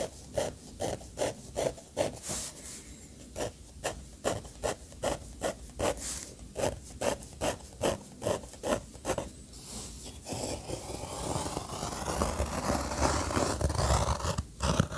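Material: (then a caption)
Paper. A steel fountain pen nib scratches short hatching strokes across a paper sketchbook page, making about two dozen quick, evenly paced raspy scratches over the first ten seconds. The strokes then blend into a louder, continuous scratching rub that runs to the end.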